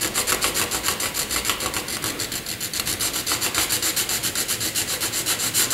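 A graphite pencil is rubbed across a flat sheet of white drawing paper in fast horizontal back-and-forth shading strokes. About 25 steady, scratchy strokes follow one another at roughly four per second, each a bright, airy rasp with almost no low end.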